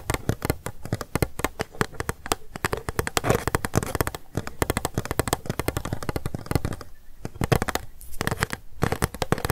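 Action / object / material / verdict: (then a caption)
tap / small hollow plastic cup / plastic / none. A small, hollow, empty, transparent pink plastic cup is held sideways in both hands and tapped fast with long acrylic nails. The result is rapid, dry, clicky taps with a low, hollow body and almost no ring, coming in quick bursts with brief pauses between them.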